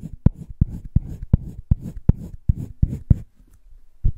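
A green wooden colored pencil held in the fingertips scratches and shades across a flat sheet of a spiral-bound drawing paper sketchbook. Twelve short, dull strokes come in a steady rhythm, each a quick low scrape with a faint brighter hiss and no ring. A brief pause follows before one last stroke.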